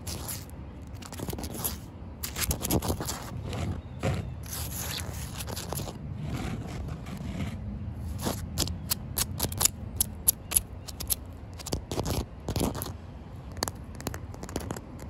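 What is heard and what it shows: Short white-painted nails and fingertips scratch and tap a flat, solid, damp outdoor concrete surface. Gritty, rasping scrapes rise and fall over a low rumble, broken by sharp, bright taps that end almost instantly.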